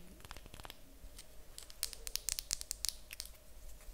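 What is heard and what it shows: A small, light-coloured solid wooden cube held in the hands is tapped and scratched with long acrylic nails. Quick, bright clicks cluster mostly between about 1.5 and 3 seconds, with soft scratching and a low steady hum underneath. Each tap dies away almost instantly.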